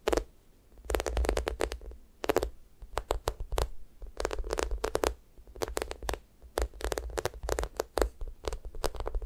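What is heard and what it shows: Long manicured nails and fingertips scratch and press the sticky, glossy surface of a hand-sized yellow mango toast squishy toy, made of solid soft polyurethane foam and lying flat. Short bursts of crackly, tacky scratching repeat in quick clusters over a steady low hum. Each burst stops dry, with no ring.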